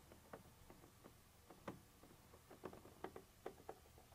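A black pointed pointer tool taps and scratches a white textured plastic surface with a molded ridge, apparently a hollow container wall. Several quiet, dry taps stand out over a soft scratchy texture, with a mid-low hollow tone and almost no ring after each tap.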